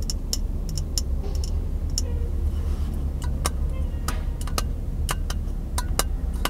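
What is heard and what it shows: A small, empty, hollow clear glass jar is held in both hands while fingertips and nails tap on the glass. Short, bright clicks with a faint ring sound irregularly over a steady low hum.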